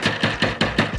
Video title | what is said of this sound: 2023 Range Rover - project (Bass package part 2) Sound treatment | there's 2 pieces of plastic, and you can hear them moving